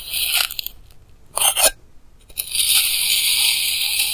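A clear plastic knife slices thin layers off solid pink kinetic sand blocks with stamped patterns, with a small clip-on mic held close but not touching. Short bursts of bright, crisp crunching and scraping come at the start and again around the middle, separated by near silence. A steady, hissy cut then runs from about two and a half seconds to the end, with almost no low end throughout.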